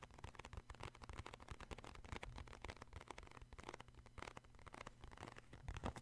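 Fingertips tap the front and the side corner of a cardboard tissue box in a fast, continuous run of dull, low-heavy taps with short, dry decay. Many quick hits blur together, with a few louder, brighter taps near the end.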